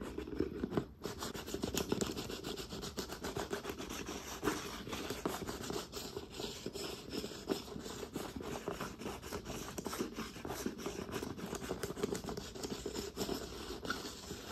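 Long nails rapidly tap and scratch the rim of the white plastic lid and the sides of a hollow, round red plastic Gatorade powder tub held up close. The result is a dense, continuous run of quick clicks and raspy scrapes with a hollow plastic resonance near 400 Hz, each tap dying out almost instantly.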